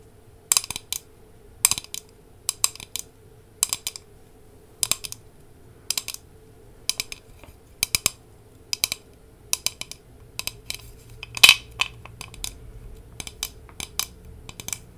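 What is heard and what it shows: A large, hollow glass jar with a glass lid, full of Haribo gummy candies, is held close and tapped and scratched with long nails. Quick, bright clicks come in short clusters over a faint low hum, each dying away almost at once.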